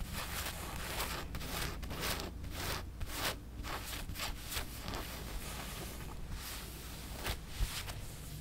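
Long nails scratch across the fabric and large skull print of a black cotton t-shirt held against the chest. The result is a run of dry, bright scratching strokes with soft rustling between them, over a steady low rumble.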